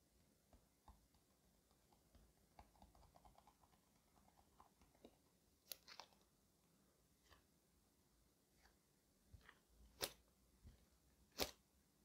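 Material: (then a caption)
Cardboard. Fingers tap on a cardboard shipping box holding a doll suit. Soft, dry taps come in a loose, uneven rhythm, then a few louder, sharper knocks near the end. Each one is brief and bright, with almost no ring.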